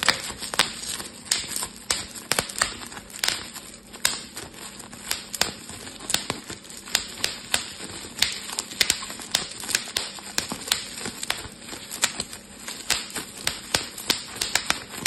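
A clear plastic bubble wrap sheet is twisted and squeezed between fingers, popping bubbles. A rapid, irregular series of sharp, bright snaps and crackles runs throughout, each pop short and dry over a faint rustling bed.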